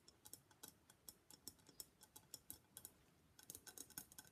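Long black nails tap along the rim and sides of a hollow gold-and-black Venetian face mask, likely papier-mâché. About 23 quiet, bright, dry clicks come in an irregular, clock-like rhythm, each dying away almost at once, with a denser flurry near the end.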